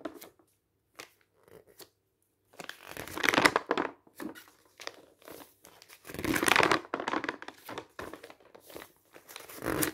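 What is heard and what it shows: Fingers turn the pages of a thin, printed newsprint paper booklet, and a hand presses them flat. Short, crisp rustles and crinkles come in scattered bursts, with two longer, louder swells of bright paper rustling as the pages are turned and smoothed down.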